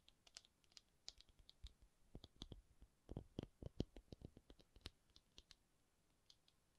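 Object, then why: Rubber object. A rubber object is tapped in a quick, irregular run of soft, dull taps with short clicky ticks. The taps are quiet and stop dead with no ring, and they grow a little louder in the middle before thinning out.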